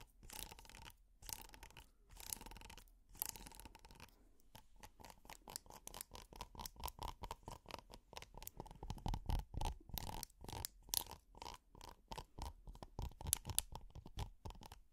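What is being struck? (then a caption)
Textured silicone pot holder. A red, textured silicone pot holder, flat and flexible and held in the hand, is scratched with plastic finger picks. A few longer, raspy strokes open the clip, then give way to quick, quiet, crackly scratches at about four per second with short bright hiss, continuing until the end.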